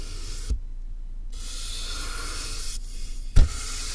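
A soft makeup brush is rubbed and brushed across the top of a medium, closed, hollow cardboard box with a tape seam, picked up by a mic inside the box. Steady, airy bristle swishing alternates with two brief pauses, over a low, hollow rumble. Two muffled thumps mark the strokes, the second louder.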